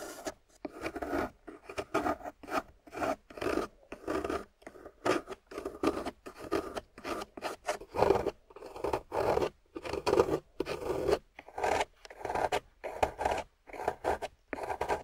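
A hand-sized solid block of water-soaked, wet grey clay, held in one hand, is scraped and carved with a small metal loop carving tool on a wooden handle, shavings falling off. Short, rasping, mid-pitched scrapes come in quick repeated strokes, separated by brief silences, with little low rumble and no ringing after each stroke.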